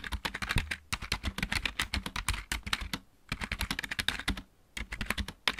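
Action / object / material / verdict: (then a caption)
tap / plastic mechanical keyboard / plastic / none. Fingertips of both hands type on a backlit plastic computer keyboard with mechanical keys. Rapid, crisp clicks come in bursts with a bright edge and a soft low thump beneath. The typing pauses briefly around the middle and again near the end.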